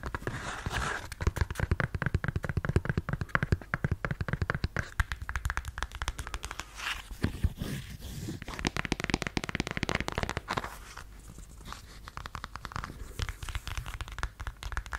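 Long nails scratch and tap the heel and strap of a beige faux suede stiletto sandal. The result is a dense, continuous run of quick, dull taps and soft scratching, mostly low in tone, with brief bursts of brighter rasping.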